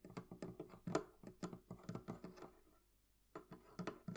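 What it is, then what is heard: Metal latch on wooden chest. Long nails tap and flick a small metal hasp latch on a hollow wooden barrel chest, using one hand. About 17 quick, quiet clicks sound, each with a short hollow thump underneath that dies away almost at once. The clicks come in a steady patter, pause for about half a second, then pick up again.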